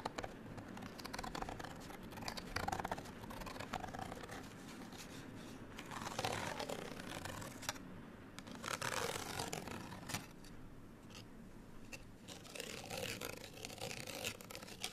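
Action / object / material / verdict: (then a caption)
scrape / small folded paper card tag / paper card / none. Long nails scratch the outer surfaces of a small folded printed paper or card hang tag held in both hands. The result is a dry, continuous rasping with a bright hiss, swelling into louder bursts of scraping around 3, 6 to 7, 9 to 10 and 13 seconds.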